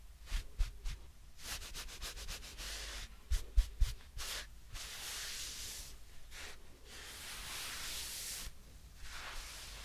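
A soft, light-coloured fabric glove is worn on one hand, hollow and empty apart from the hand inside, while the bare fingertips and palm of the other hand rub and stroke along its surface. Close, breathy rubbing and brushing come in short strokes and longer sweeps, with bright hiss-like texture and a few soft low thumps.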